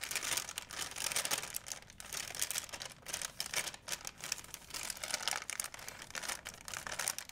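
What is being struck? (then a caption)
Thin plastic shopping bag. A wrinkled white plastic shopping bag is held flat, then crumpled and folded by hands. It gives a dense run of quick, bright crinkles with almost no low end, rising and falling in short bursts throughout.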